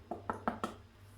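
A fresh loaf of Irish soda bread, just out of the oven, is tapped four times to check whether it is done. Each tap gives a short, dull, hollow knock. The hollow sound shows the bread is baked through.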